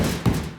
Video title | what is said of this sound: how long does it take to charge a tesla | it sounds hollow right there